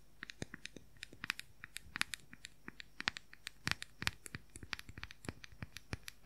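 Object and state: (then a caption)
Plastic powder compact, hollow. Fingernails scratch and tap fast on the lid of a small, hollow, round plastic makeup powder compact. A rapid, irregular run of sharp, dry clicks and light scratches rises over a quiet background, each tap bright and cut off almost instantly, with some landing harder than others.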